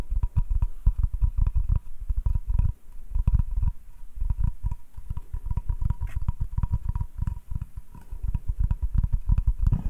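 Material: Wood.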